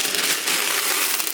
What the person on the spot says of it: that's exactly what it sounds like when you shake it